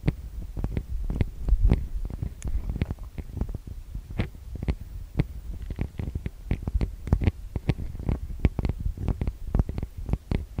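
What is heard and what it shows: Long nails and fingertips tap and scratch the metal-mesh microphone capsules of a TASCAM DR-40X recorder. The result is a rapid, irregular stream of short, deep, boomy thumps, each topped by a brief bright click, over a faint scratchy rustle.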